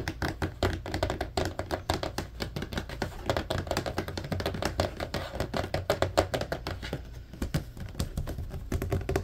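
Fingertips tap quickly on the slotted grid side of a large, hollow, empty blue plastic laundry basket held up near the camera, in a typing-like motion. The result is a dense, continuous patter of short, dull, hollow plastic taps with a low-heavy body. Each tap dies away almost instantly, with no lingering ring.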